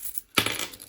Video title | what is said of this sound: 💶BUDGET WITH ME 🥳 CLÔTURE BILAN 🤩 ET NOUVELLE GESTION 2023 | En plus, ça fait du bruit dans la monnaie.